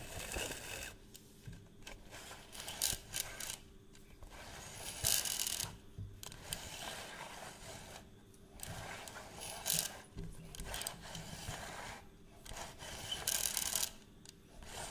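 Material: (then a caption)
Plastic. Fingertips and nails scratch the surface of a round, hollow plastic measuring tape reel case with a black crank, held up close. Bright, dry rasping comes in repeated bursts of strokes with short quiet gaps between them, and there is little low-end body.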